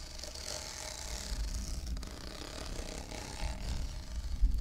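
Fingernails scratch along the ribs of a hollow, blue, ribbed plastic cylindrical tumbler, making a steady ratcheting rasp. The quick clicks run together over a low rumble with a bright, hissy edge, swelling briefly near the end.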